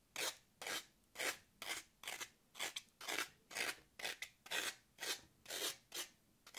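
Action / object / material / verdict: scrape / floral foam block / floral foam / none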